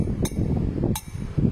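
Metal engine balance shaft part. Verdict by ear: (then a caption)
Cracked. A cracked, failed balance shaft part from a Toyota Estima engine is tapped, giving short, dull, non-metallic clicks with a brief bright edge and almost no ring over a low background rumble. The part is broken, and its debris blocks oil from reaching the top of the engine.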